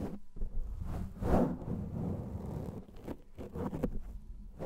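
Fingernails and fingertips scratch a black foam microphone windscreen, producing a close, muffled rumbling scrape. The sound is heavy in the low end with little brightness, swelling and fading in soft, rustling bursts.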